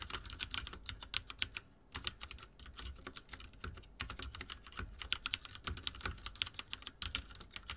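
Fingertips type fast on a backlit mechanical keyboard with dark plastic keycaps. A rapid, uneven stream of short, bright clacks and taps, each ending almost instantly, pauses briefly twice before the typing picks up again.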